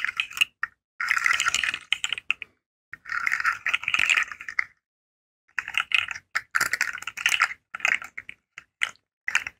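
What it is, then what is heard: Plastic articulated fidget slug. A rainbow segmented hollow plastic fidget slug is curled and flexed with fingertips and nails so its segments click against each other. Dense bursts of bright, dry, rattling clicks come in uneven clusters separated by brief silences, with almost no low end and no ring after each click.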